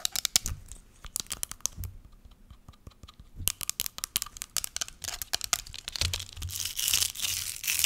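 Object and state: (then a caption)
Plastic spray bottle. A small clear plastic spray bottle holding pink liquid is tapped and scratched quickly with long nails. Dense runs of sharp, bright clicks and crinkly scratching fill the clip, with a low thump here and there. Toward the end they blur into a steadier hiss of scratching.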